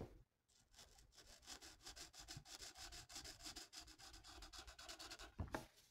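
A felt-tip marker colors a thin, flat paper mandala coloring sheet resting on a table. Quick back-and-forth rubbing strokes make a steady, bright, scratchy hiss that pulses with each stroke. It starts after a brief quiet moment, and a soft bump is heard near the end.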